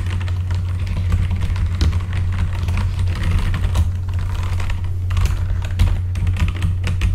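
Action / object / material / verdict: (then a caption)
tap / mechanical computer keyboard with plastic keycaps / plastic / none. Both hands type with their fingertips on a full-size backlit mechanical computer keyboard with plastic keycaps. A rapid, steady stream of short, crisp key clicks and clacks sits over a constant low hum.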